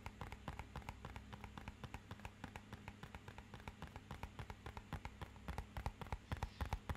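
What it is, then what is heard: Cardboard box tapped. A small, rigid, hollow, matte-black rectangular cardboard box is tapped with a fingernail and fingertip in a quick, uneven run of about 45 short, dry clicks over a steady low hum. The taps die away almost instantly and grow louder toward the end.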